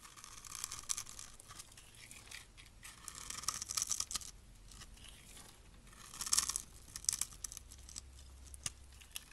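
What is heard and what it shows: A blade scrapes across the grid-scored surface of a solid rectangular green and white striped soap bar held in the hand, shaving off crunchy small cubes. Bursts of dry, bright crunching and crackling rise and fall in clusters, with brief sharp snaps between them over a faint low hum.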